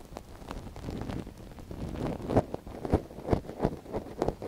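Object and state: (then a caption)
Silicone ear of binaural microphone being scratched. A thin wooden stick scratches inside the canal of a soft silicone binaural-microphone ear, which a gloved hand holds steady. Close, dull scraping and rustling come in irregular bursts, with a few louder, sharper scratches toward the end. The sound sits low and muffled, with almost nothing bright.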